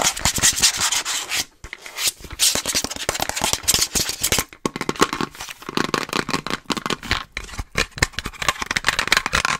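Long nails rapidly rub, scratch and tap a hollow, apparently empty frosted plastic Starbucks reusable cold cup with its lid and green straw. The result is a fast, dense stream of bright, hissy scraping strokes and short clicky taps, with brief pauses near 1.6 and 4.6 seconds.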